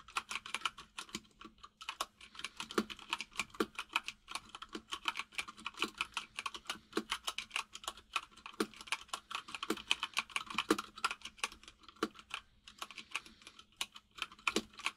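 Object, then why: Plastic mechanical keyboard. Fingertips of both hands type steadily on a full-size mechanical keyboard with white and grey plastic keycaps and a hollow case. The key taps are rapid, bright and clicky, each dying away almost instantly, with occasional louder strokes standing out above a faint steady low hum.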